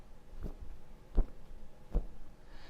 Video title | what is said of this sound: Accuquilt Classroom - March 2018 | that sound is much lower and duller listen again it's quite a dull sound